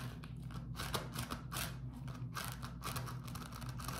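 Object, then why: Beeswax-coated cotton food wrap. A beeswax-coated cotton food wrap is pinched and crumpled, then rubbed with fingertips. The result is bursts of soft, papery crackling and crinkling with bright hiss, over a steady low hum.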